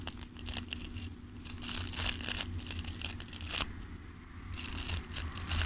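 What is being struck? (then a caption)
Wooden hairbrush with bristles. Fingertips and nails scratch and strum the bristles of a wooden-handled hairbrush, making repeated bursts of bright, crisp, scratchy rustling. A faint high steady tone runs through, over a constant low hum.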